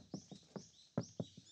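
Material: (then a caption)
Steel. Knuckle knocks land on the steel rear panel of a Suzuki Jimny Sierra JB74 after the rear floor and panels have been fully deadened with damping and insulation mats: six short, low thuds with almost no ring. The panel now sounds dull and completely different, as deadening should make it, while faint bird chirps carry on in the background.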